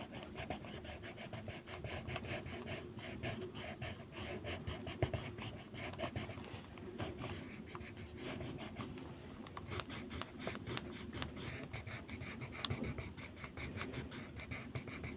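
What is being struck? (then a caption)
Colored pencil on paper sheet. A blue colored pencil colors a flat white paper mandala sheet lying on a table, making continuous short strokes. The steady scratching and rubbing of pencil on paper forms a dense run of quick, soft strokes with bright, papery texture and a low rumbling base throughout.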